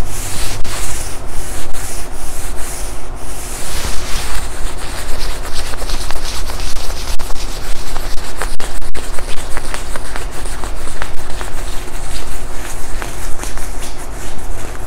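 A palm rubs the padded upper arm sleeve of a black quilted nylon puffer jacket being worn. Repeated soft swishing, rustling strokes of fabric continue steadily over a constant low hum.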